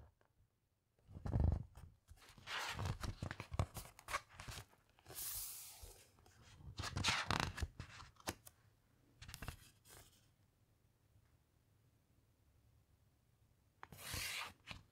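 Fingertips rub and drag a thick glossy page of a large hardcover coffee table book across, then let it settle. Soft papery swishes and crinkles with bright, airy rustle and a low thump come in bursts over the first ten seconds. After a quiet stretch, one more rustle of the page comes near the end.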